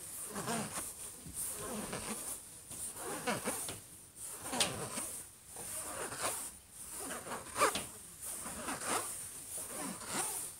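Both hands slowly scratch and rub the closed lid of a silver HP laptop with fingertips and short nails. The result is a steady, uneven run of dry, raspy scraping strokes with bright hiss on top, rising and falling in short swells.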